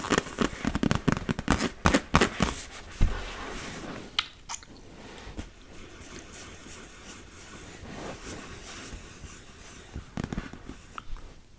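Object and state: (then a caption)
Inflatable vinyl beach ball. A large, fully inflated hollow PVC beach ball with blue and yellow panels is held against the body while long red acrylic nails tap and scratch its taut plastic surface. A fast, irregular run of crackly taps and scratches comes in the first few seconds, with dull low thumps and brief bright scrapes. It then settles into quieter rubbing with a few scattered taps near the end.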